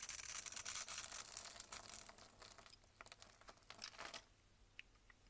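A box-cutter blade scrapes small cubes off a solid, rectangular, cream-colored bar of soap held in the hand. Dense, bright, crackly scraping comes first, then thins into separate crisp cuts that fade to near silence, with a few faint ticks at the end.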